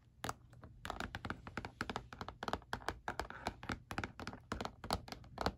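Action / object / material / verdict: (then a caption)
tap / hard plastic calculator casing / hard plastic / none. Fingertips and nails tap rapidly and irregularly on the back of a black, hard plastic calculator lying face down with a hollow casing. The taps are short, dry, hollow clicks and thunks with very little ring, over a faint steady low hum.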